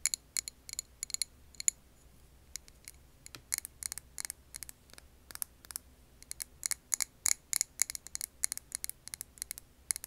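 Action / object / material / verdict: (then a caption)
tap / glass jar filled with candle wax / glass / none. A clear glass jar filled with green wax candle is tapped with long nails. The result is quick, bright clicks in irregular bursts that die out almost at once, over a faint low hum.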